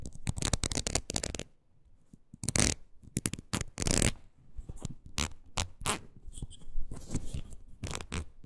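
Long nails scratch across the ridges of a red ridged rubber wood-graining rocker with a wooden handle. The result is bursts of rapid, rattling ticks and scrapes, bright at the top yet full of low thumping, separated by short quiet gaps.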